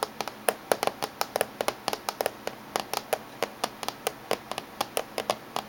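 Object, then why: Laptop casing. Fingernails of both hands tap on the top surface of a closed silver laptop casing, making about 30 quick, dry clicks at an uneven rhythm. Each tap is short and bright, with a hollow mid-pitched knock and almost no low end or ring.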